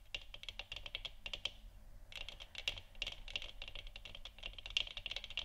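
Long nails tap the top of a large, hollow, 3D-printed plastic moon lamp sphere that is lit orange. The result is a quick run of short, bright, dry clicks that stop very fast, with a brief pause near the two-second mark before the tapping picks up again.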